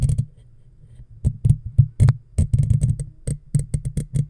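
Long natural fingernails of both hands scratch and tap the hollow, black woven metal mesh ball grille of a handheld-size microphone. A brief scratchy burst is followed by a quiet pause, then a quick run of dry, short taps and scratches. Each lands as a deep, boomy thump with a faint bright crackle on top.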